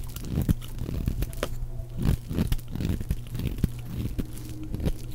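A utility knife blade scrapes a round, pale yellow, dry, solid bar of soap held in the hand, peeling it into long shavings. The sound is a dense, dry crunching and crinkling scrape with quick, sharp bursts, weighted heavily toward the low end with a faint steady low hum underneath.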